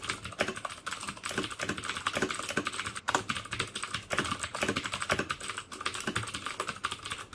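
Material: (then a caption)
Plastic. Fingertips type steadily on the keycaps of a black plastic mechanical keyboard with clicky Cherry MX Blue switches. It makes a dense, fast stream of crisp, bright clicks with very short decay and little low end, with brief pauses between bursts.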